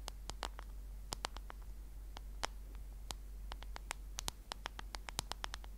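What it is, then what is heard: Smartphone in a case tapped with fingernails. Long nails of both hands tap on the black case of a smartphone held horizontally in front of the mic. Quick, dry, bright clicks come in an irregular stream over a low, steady hum.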